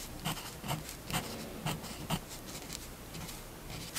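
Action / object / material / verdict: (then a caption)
scrape / fineliner pen on paper sheet over a wooden table / paper / none. A fineliner pen held in the hand scratches short ink lines across a white paper sheet laid flat on a wooden table. Five brief, dry scratching strokes stand out above a soft, steady rasp, each with a low thump and a bright hiss that fade almost at once.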